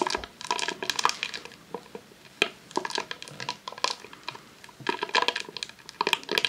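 Long nails tap and scratch a long roll of vinyl adhesive sheet in a clear plastic sleeve resting on a tablecloth. The result is bright, crisp crinkling in clustered bursts of quick taps and scrapes, with almost no low end and very short decay between quieter pauses.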